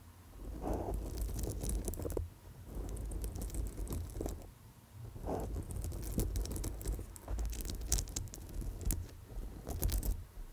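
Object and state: Amethyst chip bracelet.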